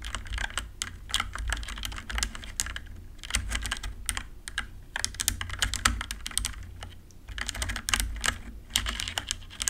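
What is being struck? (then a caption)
Plastic mechanical computer keyboard. Fingertips and long nails rapidly tap the plastic keycaps of a compact 60% RGB-backlit mechanical computer keyboard. The result is a dense run of short, bright clicks and clacks in bursts, with brief lulls near the third and seventh seconds, over a steady low hum.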